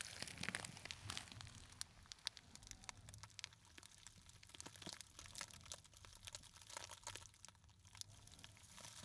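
A small, hollow gold glittery textured fabric clutch with a metal kiss-lock clasp is crushed and scratched with fingertips and short nails. The result is a quiet, dense stream of bright crinkling and scratching with many sharp, quick clicks and no ring-out.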